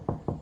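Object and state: Drywall over a stud, solid.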